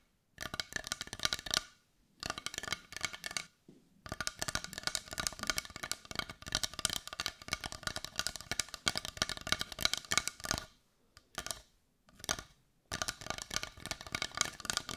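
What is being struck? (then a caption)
Carved wooden heart. A brown carved wooden heart that looks solid is tapped and scratched on its side with long nails. Rapid, dry, bright clicking and scratching comes in dense bursts separated by short pauses, each tap dying out almost instantly with very little low end.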